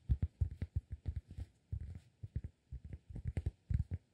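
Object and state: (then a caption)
Cork disk. Fingertips tap and scratch the face of a solid, round, flat cork disk about 15 cm across, held in both hands. A quick, uneven run of soft, low, dull thuds follows, each dying away almost at once, with faint brushing scratches in between. The overall sound stays quiet and muffled, with almost nothing bright on top.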